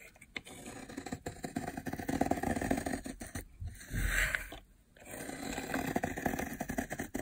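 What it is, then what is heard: Dry soap bar being scraped. A metal utility blade scrapes along a long, solid, blue dry soap bar lying on a white surface, peeling off cracked, layered flakes. The result is a steady, crackly scraping texture with many tiny crisp clicks, briefly pausing twice near the middle around a softer, smoother swell.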